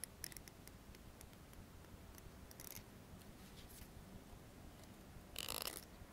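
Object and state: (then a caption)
Plastic comb. A dark plastic comb is held upright while its teeth are strummed and flicked with the nails, making quiet, sharp, bright clicks spread across the clip over a low background hum. Near the end, a louder, denser rasp of teeth rings out briefly before it settles back to faint ticks.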